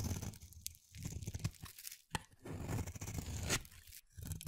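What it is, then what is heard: Bar soap being shaved. A palm-sized, solid gray-blue bar of soap, held in the hand, is shaved with a utility-knife blade. Crunchy, tearing scrapes come in uneven strokes, heavy in the low end with a bright hiss, broken by a few short quiet gaps and sharp clicks.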